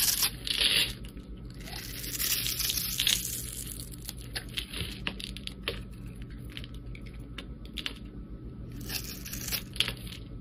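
A palm-sized solid teal bar of soap is held in the hand and scraped and carved along its surface and edges with a flat metal blade. Bright, crackly scraping and shaving sounds come in uneven strokes, with louder bursts near the start, around the three-second mark and again near the end, over a faint low hum.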